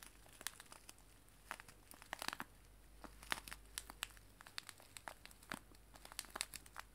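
A small clear cellophane bag filled with dried loose tea leaves is held in both hands and crinkled and squeezed with fingers and long nails. Quiet, bright, crisp crackles and crinkles come in irregular bursts over a faint steady low hum.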